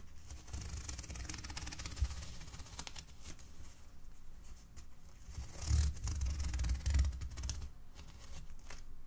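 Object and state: Polyethylene foam net sheet.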